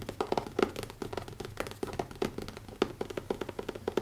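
Fingertips tap rapidly on the closed, solid cover of a black leather notebook with an elastic band. The result is a quick, uneven run of soft, dull taps, each with a brief low-mid knock around 390 Hz that dies away almost at once.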